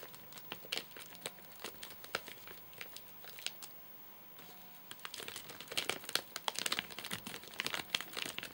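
A full, flat rectangular Soft Nougat bar in a crinkly plastic wrapper with crimped ends lies on a sofa and is tapped and scratched with fingertips and short nails. Bright, dry crinkles and sharp ticks come in scattered bursts, pause briefly near the middle, then return denser and louder toward the end.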